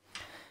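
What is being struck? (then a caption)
Leather-hard clay bowl base. A fingertip taps once on the bottom of a leather-hard clay bowl base while its foot is being trimmed on the wheel, a check by ear of whether enough clay has been removed. The result is a single soft, bright tick centered near 1.9 kHz that fades over about a third of a second.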